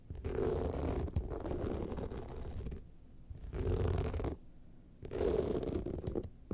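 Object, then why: Rhinestone-studded evening clutch bag. Long nails scratch the sides and top of an upright gold rhinestone-studded evening clutch bag. Dense, gritty scratching comes in three louder bursts separated by quieter stretches. The sound is heavy in the lows, with a rough midrange hum near 400 Hz and little bright content.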